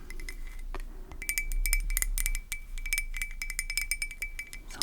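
A glass Fantastic Beasts mug with tea in it is tapped repeatedly, producing quick, bright clinking glass sounds. Each tap rings briefly around 2.3 kHz over a low background rumble.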